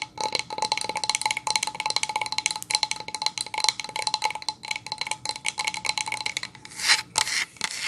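Long nails and fingertips rub and scratch the surface of a solid pine plank sign held upright. The result is a dense run of quick, dry scratches and light taps with a bright, high edge, almost no low end and no ring. Near the end come a few louder, breathier rubbing bursts.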